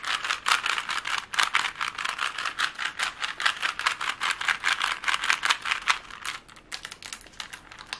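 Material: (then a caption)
Plastic. A plastic Rubik's cube is held close and its layers are twisted quickly, producing a rapid, somewhat irregular stream of dry plastic clicks and rattles. The sound is bright, with almost no low end and very short decay, and it grows softer after about six seconds.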